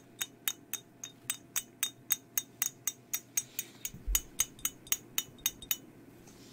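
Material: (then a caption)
Ceramic. Long nails tap and scratch a hand-sized, hollow, glazed ceramic mug with a black-and-white skeleton design and a handle, which is empty and turned over to show its base. Twenty-three quick, bright, clinking taps come at an uneven pace over a faint steady hum. Each tap has a short high ring, and a soft low thump sounds partway through.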